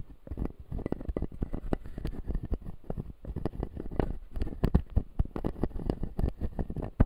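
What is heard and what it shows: A closed, solid dental model of clear acrylic with white plastic teeth is tapped and scratched by a fingertip. The result is a quick, irregular run of soft, dry, muffled clicks and rubbing sounds. They are mostly low and dull, and each tap dies away almost at once.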